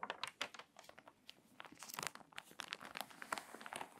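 Fingertips and long nails rub the pages of a crinkly, water-damaged paper magazine, then turn a page. Dense, quiet crinkling and rustling comes through as many short, dry, bright crackles with little low end.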